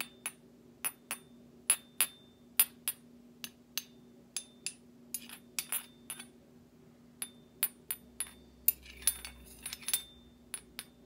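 A large stainless steel slotted serving spoon, with a thin solid metal bowl and cut-out slots, is held up and tapped repeatedly with the handle of another metal utensil. Each tap gives a short, bright metallic clink with a high ringing tone that dies away quickly, in an uneven rhythm over a quiet, steady low hum.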